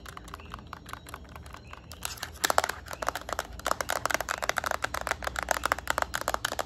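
Long nails tap a yellow Nintendo Switch Lite, first along its edge and then on its plastic back. The first two seconds bring faint, light ticks. After that, the taps grow louder into a rapid run of short, dry, clicky knocks, with no ring, over a low, steady background hum.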